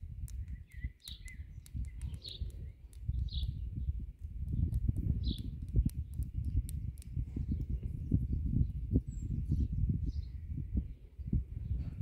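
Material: Stone.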